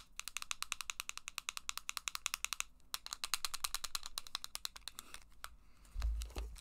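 A small hollow green plastic Game Boy game cartridge, held in one hand, is tapped with long black acrylic nails. The result is a fast run of sharp, bright clicks that pause briefly near the middle. The tapping ends with a low thump.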